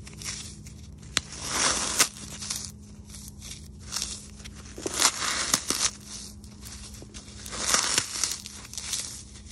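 A brown phenolic floral foam block, light and porous and coated in grey-white powder, is crushed and crumbled between bare fingers and palms over a ceramic plate. Bright, dry crunching and crackling comes in repeated bursts with a few sharp snaps, over a faint steady low hum. Crumbs and dust fall onto the plate, possibly adding faint contact sounds.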